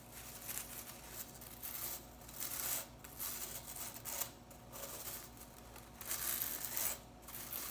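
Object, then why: Synthetic broom bristles. Blue synthetic broom bristles are held in one hand while the long nails of the other hand scratch and flick through them. The result is a bright, dry, hissy scratching that swells and fades in repeated bursts, with faint crisp ticks on top.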